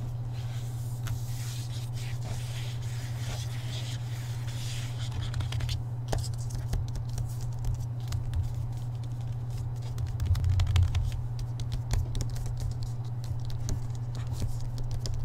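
Fingertips tap quickly on the front cover of a hardcover Harry Potter book with a glossy paper dust jacket, held upright. Rapid, irregular soft taps and light scratchy patter sit over a steady low hum, with a slightly louder cluster of taps near the end.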